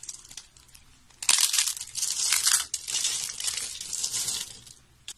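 A pile of thin, solid yellow dry soap flakes and curls is crushed and crumbled in both hands with long nails. Soft, scattered crackles give way after about a second to loud, dense, bright crunching and crinkling, with a brief dip midway. The crunching then fades back to faint crackles, with one last small snap at the end.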